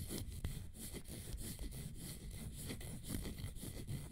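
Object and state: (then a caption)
Leather high-heel sandal. A single leather fringe high-heel sandal, with teal straps, an orange panel, a gold fringe and a black sole, is held up close while long nails tap and scratch the straps and panel. The sound is a fairly sparse, steady, low, dull scratching and rubbing, with a few soft taps standing out over a faint airy hiss.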